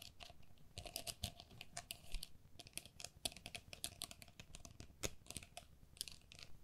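Long nails tap and scratch the mesh walls of a hollow, empty, hand-sized pink plastic pen cup with a perforated lace pattern. The result is a quiet, irregular stream of quick, bright, clicky taps mixed with light scratchy rasps. Each tap dies away almost instantly.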